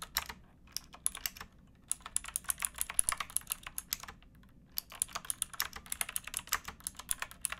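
Fingertips with painted nails type on a pink backlit plastic mechanical keyboard with round keycaps and a hollow case, resting on a wooden box. Quick, crisp, bright clacks come in rapid bursts, separated by short pauses. Each keystroke stops sharply with no ring.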